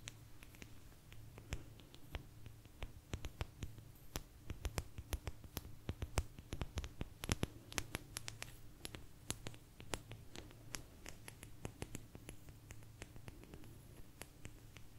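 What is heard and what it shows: Long nails tap and scratch a small, thin, solid blue agate slice, making many quick, sharp, bright clicks with almost no ring. The clicks fall irregularly over a steady low hum.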